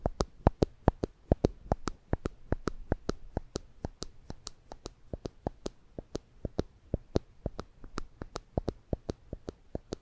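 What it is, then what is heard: Plastic spring clamp clicking. A small yellow and black plastic spring clamp, held in the fingers above the microphones, is squeezed and released repeatedly so its jaws snap open and shut. This produces 47 sharp, dry clicks at an uneven pace, each with a thumpy low body and a bright, instant snap that dies away almost immediately. Quiet handling noise sits between the clicks.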